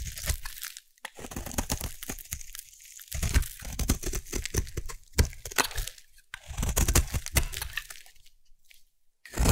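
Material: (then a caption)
Soap. A solid orange bar of soap is scored with a knife and then carved into shavings with a blade. Dense, crisp crunching and scraping come in bursts, with bright crackle over low, dull thuds, and short quiet gaps between the cuts.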